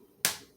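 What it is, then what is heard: Cracked eggshell. A raw chicken egg, rotated a quarter turn, is tapped once on a granite surface to extend the crack around its middle. A single sharp, bright crack with a brief ring fades within a fraction of a second. The eggshell is cracked, and the egg is later opened easily with the yolk intact.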